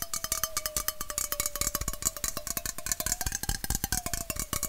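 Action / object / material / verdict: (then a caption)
tap / aluminum bottle-shaped drink can / aluminum / none. A red, hollow aluminum Coca-Cola bottle-shaped can, held horizontally, is tapped rapidly and unevenly with fingernails near the base. The quick, sharp clicks carry bright, high-end sizzle over a steady metallic ring that drifts slightly in pitch.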